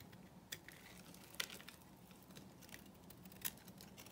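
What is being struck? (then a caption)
Bar of soap scraped with a small blade. A small metal blade scrapes and cuts across a solid, rectangular bar of dry, grey-white vintage Korean soap held in the palm, crumbling flakes off its surface. The quiet, crisp scraping sounds bright and papery, with a few sharper crackling snaps standing out over a faint low hum.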